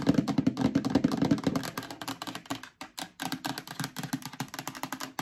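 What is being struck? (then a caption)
Plastic storage bin. An empty, medium-sized hollow yellow plastic storage bin is held up and scratched and tapped on its bottom and sides with long dark nails. Quick, dry, hollow knocks with a low resonant tone come in loose, uneven bursts, mixed with brief bright scratching. They start dense and louder, then thin into lighter, spaced taps.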